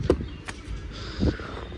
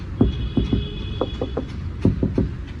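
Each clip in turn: First: Two short, dull knocks with a low thud and almost no ring: a thin, light sheet-metal car panel. Second: Knuckle knocks on a car's steel body structure give short, low, dead thuds: solid and heavy.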